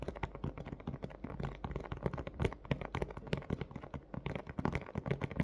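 Fingernails on both hands tap quickly across a large, hollow, thin clear plastic clamshell dome holding a pink plush toy. The result is a rapid, uneven stream of short, hollow clicks and taps with a soft, low-weighted body and little high-end brightness. Each tap dies away almost instantly.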